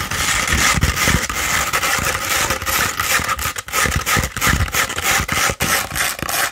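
Long red nails scratch an upright tube of rolled 100-grit sandpaper, producing a continuous gritty, rasping scrape with bright, hissy texture. Quick repeated strokes with short gaps run throughout, with soft low thumps beneath the rough scratching.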